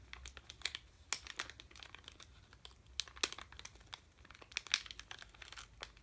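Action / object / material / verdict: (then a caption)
scrape / sealed plastic candy bag / plastic / none. A sealed red plastic M&M's bag full of candy is held in both hands and crinkled with the fingertips. The result is quiet, dense crinkling made of many sharp, bright crackles with almost no low end, with energy centered near 2.4 kHz and louder bursts scattered throughout.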